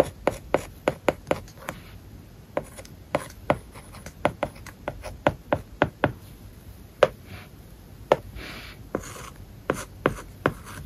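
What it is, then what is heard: Stylus writing on a tablet screen with a paper-like film. A plastic stylus writes short strokes on a solid iPad screen covered with a matte plastic paper-like film. Quick, dry tapping scratches come in an irregular series with almost no ring, and some strokes drag into brief, soft, hissy rubs.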